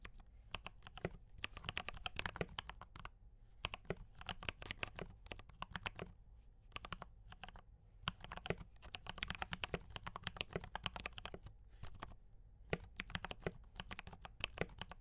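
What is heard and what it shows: Fast fingertip typing on a D84 mechanical keyboard with brown switches and cream and red plastic keycaps produces dense bursts of short, bright clicks and clacks. Each keystroke dies away almost at once over a low hum, with brief pauses between runs of typing.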